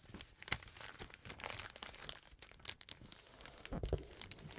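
A brown kraft paper bag with a dark stripe is held up, then laid flat and rubbed and pressed with fingertips. The result is a quiet, continuous crinkling and rustling of paper, with dry, bright crackles and a sharper crunch early on.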